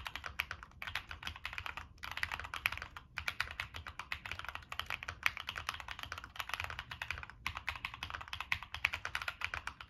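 Continuous fingertip typing on a Monsgeek M1 mechanical keyboard with a black aluminum case, plastic keycaps and NK Cream switches. Rapid, crisp keystroke clicks are centered around 2 kHz with very short decay and a faint low rumble beneath. Brief pauses fall near 0.8, 3.1 and 7.4 seconds.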